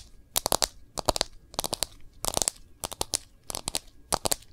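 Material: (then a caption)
Plastic. Long nails tap and scratch the back of a smartphone in a clear plastic case. Quick clusters of sharp, bright, crunchy clicks arrive in about seven short bursts, with a faint scratchy rustle between them.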